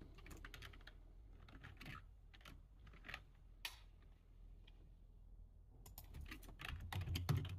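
Fingertips type on the keys of a low-profile plastic computer keyboard, making quiet, short, dry clicks at an uneven pace over a steady low hum. The typing thins out to a brief lull in the middle, then picks up again with denser, slightly louder taps toward the end.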